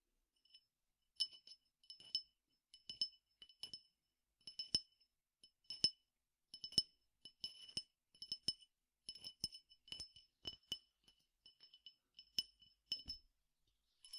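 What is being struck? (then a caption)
Glass tumbler holding peppercorns. A clear drinking glass about one-third full of peppercorns or grains is tapped with the fingernails and tilted so the contents move. About 30 quiet, bright glassy clinks come in irregular clusters, each short with almost no ring, over a faint rattle of the grains shifting inside.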